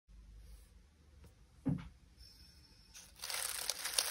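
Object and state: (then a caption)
Dry crinkly lemon balm leaves. Two hands press and knead a pile of dried, crinkly lemon balm leaves in a glass bowl resting on a grey towel, crumpling them with their fingertips. After a quiet, low-humming start and a soft crunch, the clip builds into a dense, bright crackling rustle of brittle leaves that lasts to the end.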